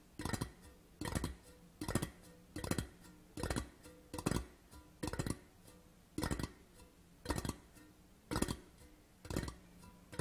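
Fingertips of both hands tap quickly on the side of a hollow metal whisky tin tube lying on a cloth. About eleven short bursts of rapid, hollow taps with a faint metallic ring come at steady gaps. Each burst is soft and dies away almost at once.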